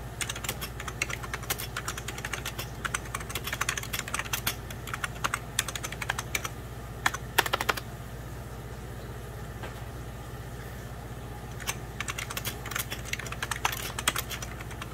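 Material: Plastic.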